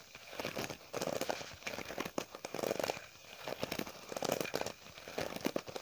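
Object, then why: Faux leather wallet. A long, flat green wallet or clutch with an embossed, textured faux leather surface and a gold edge is held in both hands and scratched and rubbed with long painted fingernails. The result is a steady run of dry, crinkly scraping and crackling in overlapping bursts, with a mid-range body and a bright, hissy edge.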